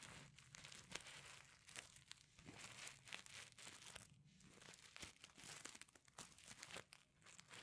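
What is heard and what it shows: Fingernails scratch back and forth across the reversible sequins covering a flat fabric pencil case. The result is a quiet, bright, crinkly rasp made of rapid small clicks and ticks, coming in uneven bursts with short pauses between strokes.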